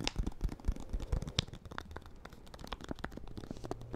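Fingernails tap and scratch the white paper wrapper of a small solid bar of soap held in one hand. The result is a quick, uneven run of dry taps and papery crinkles and scrapes, mostly low and dull with brief brighter clicks.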